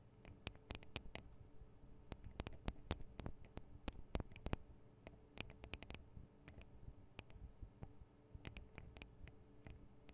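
Long acrylic nails tap rapidly on the small, hollow metal microphone capsules and metal guard wings of a Tascam DR-40 recorder. The result is quiet, irregular clicks and ticks that die away almost instantly, with bright, sharp attacks over a low, dull thud.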